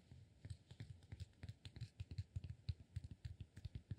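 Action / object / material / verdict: tap / cork block / cork / none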